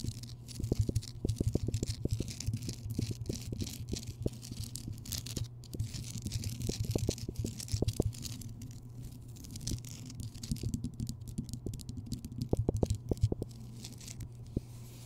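Long fingernails scratch quickly across the craggy crystalline surface of a large, solid, rough Himalayan rock salt lamp that is lit. Dense, rapid scratching and ticking sounds with short, sharp clicks run over a steady low hum near 100 Hz.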